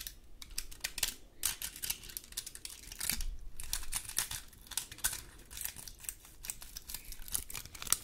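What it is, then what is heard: Dry pine cone. Long gold claw nails scratch and tap across the scales of a large, dry, woody pine cone. The result is a dense, steady run of quick, dry, bright clicks and scrapes with almost no ring, laid over a low, faint rumble.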